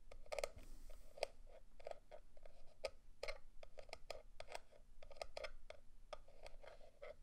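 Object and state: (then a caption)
Plastic remote controller. A fingertip and nail tap the battery cover on the back of a black, hollow plastic Protocol Slipstream quadcopter drone remote controller and run along its plastic grip. The result is a quick, uneven series of short, dry, clicky taps with a hollow plastic tone, mixed with light scratchy rubbing, and each tap dies away almost instantly.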